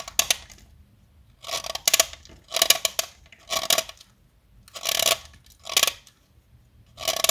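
A metal blade cutter carves a small, solid pink blackboard chalk stick held upright between the fingers. Short, bright scraping and cutting strokes come in separate bursts with brief quiet gaps between them. Each stroke has a crisp, gritty rasp and almost no low end.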